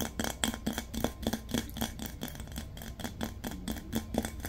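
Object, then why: Large glazed ceramic vase. A large, round, hollow glazed ceramic vase with a floral painting is tapped with fingertips and nails in a quick, uneven series. Each tap gives a short, bright clink with a low tone near 220 Hz that fades almost at once.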